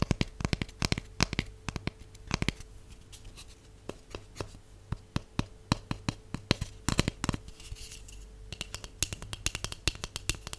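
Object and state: Empty hollow cardboard tube.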